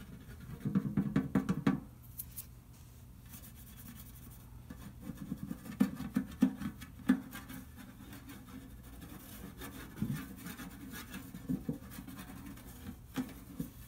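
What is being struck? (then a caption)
Round metal cookie tin. A fingertip traces and scratches across the printed lid of a large, hollow, round metal butter cookie tin lying flat with its lid facing up, moving around the bow design. Soft, dry scraping and rubbing comes in uneven bursts, with a low hollow resonance around 258 Hz under the louder strokes. Brief sharper scratches stand out near the start and middle before trailing off into quieter tracing.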